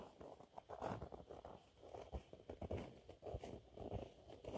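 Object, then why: Cellulose sponge cloth. Fingernails scratch a thin, flat, yellow textured cellulose sponge cloth. Soft, dry rasping strokes come in uneven bursts, with a muffled low-to-mid scratchy texture and little brightness. The sound stays quiet and close throughout.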